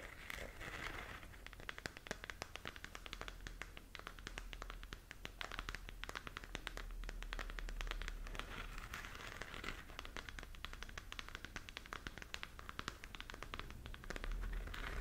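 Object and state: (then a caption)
Plastic sphere lamp scratched and tapped. Long nails scratch and tap the surface of a glowing, hollow plastic galaxy moon lamp held in both hands. Dense, irregular clicks and crackly scratching run continuously through the clip over a low background hum.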